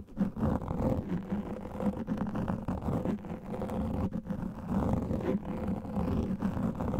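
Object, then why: Foam microphone windscreen. Fingernails of both hands scratch fast over a large black foam microphone windscreen. The result is a dense, continuous muffled rustle and rumble, heavy in the low end with a faint hum-like tone, made of rapid overlapping scrapes at a steady level throughout.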